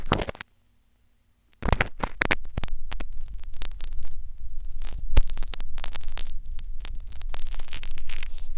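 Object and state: Silicone ear microphone being scratched.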